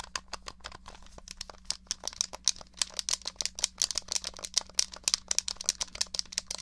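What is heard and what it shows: Long nails tap rapidly on the case of a small, hollow, grey plastic SNES controller, producing about 38 quick, dry, bright clicks that stop instantly with no ring. A faint steady low hum runs underneath the uneven tapping.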